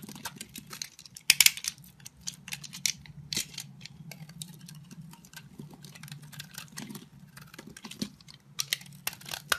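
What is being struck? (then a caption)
Bar of soap scraped with a knife blade. A solid cream-white soap bar, held in the hand, has its edges scraped and shaved with the blade of a green-handled utility knife. The result is a quiet run of dry, crisp, bright scraping and flaking bursts, with a few sharper peaks, over a faint low hum.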